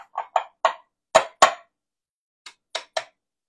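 A large goose egg from a local farm is knocked against a bowl to crack it open for scrambled eggs. Eight short, sharp taps sound, spread unevenly over a few seconds. Each tap is a dry, hollow knock that dies away almost at once.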